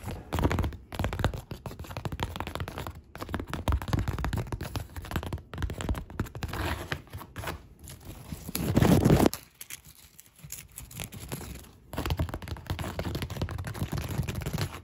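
Long pink acrylic nails scratch and tap along a large white woven polypropylene reusable shopping bag with black print and a grey stitched seam, its thin, flexible surface crinkled. Dense, irregular scratching and crinkling fills the clip with low-heavy rustle, swelling to a louder burst around nine seconds before a brief quieter stretch and a return to steady scratching.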